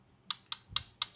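A socket taps a steel bearing puller rod four times, giving short, bright metallic ticks that ring briefly at the top end. The rod sounds hollow because it is not yet seated against the crankshaft.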